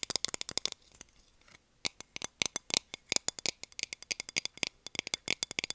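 A small, round, hollow and empty clear plastic container lid, held upright, is tapped with long nails in quick runs. The taps are sharp, bright clicks with almost no low end and no ring, about 37 in all, with a short pause near the first second.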